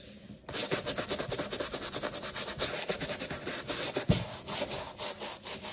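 A wooden-handled bristle brush scrubs back and forth over an empty black leather sneaker lathered with cleaner. After a brief quiet start, it makes a steady run of bright, rapid scratchy rubbing strokes that swell and fade with each pass, and one sharper scrape comes near the end.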